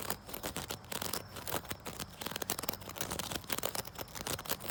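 A wicker chair is scratched outdoors, building up to tapping on it. Dry, crackly scratching gives way to rapid, short, bright taps that die away almost instantly.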